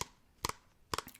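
An everyday organic shampoo bottle is tapped for ASMR: a single tap, then two quick double taps, followed by a few fainter taps at the end. Each tap is a short, dry, bright click centred around 1 kHz that dies away almost instantly, with quiet pauses between.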